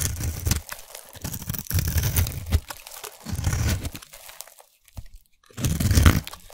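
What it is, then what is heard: Bar of soap being shaved. A utility knife blade scrapes and shaves the surface of a solid, hand-sized orange bar of soap held in one hand, breaking it into crumbly flakes. Dense, gritty crunching and scraping come in several bursts separated by brief quiet gaps. The sound has a heavy, low-weighted body with faint bright crackle on top.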